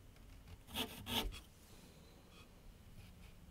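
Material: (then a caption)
Paper. A graphite pencil scratches and sketches lines across a large flat sheet of white paper mounted on a board on an easel. Two louder, bright, raspy strokes come early, followed by softer, quieter scratching with a faint low background hum.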